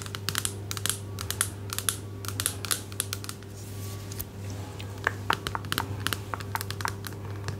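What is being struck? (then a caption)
Plastic body cream bottle. Long nails tap and scratch a medium-size orange plastic bottle of body cream, hollow and apparently filled. Quick, bright clicky taps come in bursts, with a softer scratching stretch in the middle. Each tap dies away almost at once over a steady low hum.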